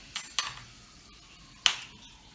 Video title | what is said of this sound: Cooking recipe - Schnitzel/ Tonkatsu | hear the sound of it, how crispy it is,